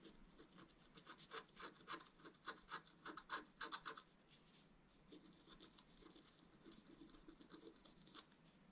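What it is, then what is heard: Wax-coated scratch-art paper being scratched. A wooden stylus scratches and rubs across a thin, solid, flat black wax-coated scratch-art paper card. A quick run of sharp, bright scratching strokes comes first, then fades into softer, steadier rubbing for the rest of the clip.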